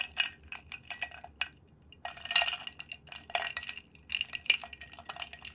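A wooden stick is stirred inside a clear, round, medium-size glass jar holding clear contents, likely water. It scrapes and clinks against the glass in quick, irregular bursts of bright, short ticks and rattles with almost no low end, some brief pauses between flurries.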